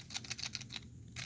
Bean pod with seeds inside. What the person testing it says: you can shake it and hear the rattling. You hear that? So that lets you know it's ready.